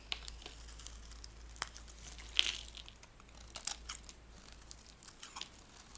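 A metal blade scrapes the surface of a dry, cream-white oval bar of solid soap, shaving off thin crumbly curls. Quiet, bright, dry scratching and crackling comes in short bursts, with a few sharper crisp scrapes over a faint low steady hum.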